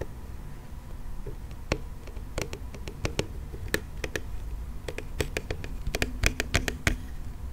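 Fingernails tap and scratch the body and wheels of a hollow pink plastic toy monster car close to the microphone. Sharp, bright clicks and short scratchy ticks come in irregular bursts, each dying away almost instantly. A low, steady rumble sits underneath throughout.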